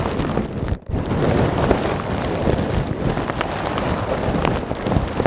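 Both hands squeeze a clear plastic bag full of small white polystyrene foam beads and scratch it with fingertips and nails, the bag sitting behind the microphone. The result is a dense, continuous crackling rustle with a thick low and mid body, briefly dropping to near silence just before the one-second mark before resuming steadily.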